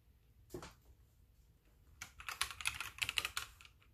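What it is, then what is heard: Plastic mechanical keyboard being typed on. Both hands type with their fingertips on a full-size white backlit mechanical keyboard with plastic keycaps, resting on a wooden desk, while the mouse sits unused. A single clack is followed by a pause, then a quick, uneven burst of bright, sharp plastic keystroke clicks that stop dead with no ring.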